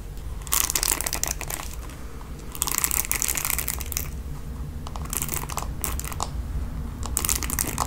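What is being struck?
Plastic paddle hairbrush with bristles.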